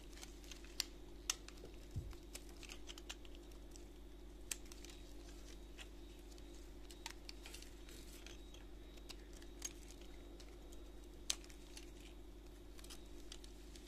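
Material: Soap.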